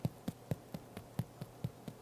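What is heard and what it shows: Nine taps on the bottom of a freshly baked whole wheat soaked-flour bread loaf give short, low, dull thumps around 145 Hz that die away almost instantly. The hollow, drum-like sound shows the loaf is baked through inside.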